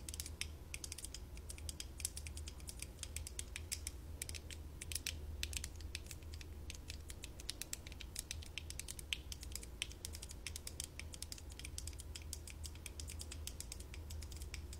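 Long nails tap and scratch the front visor and sides of worn light-up plastic LED visor glasses, with both hands on the glasses. Fast, dense, bright clicky taps and scratches run steadily throughout over a low hum, each very short and dry.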